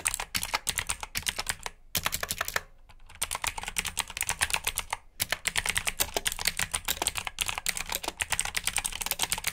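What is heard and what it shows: Fingertips of both hands type quickly on a black mechanical keyboard with plastic keycaps and clicky switches. The result is a dense run of sharp, bright clicks with brief pauses, including a short near-silent gap early on.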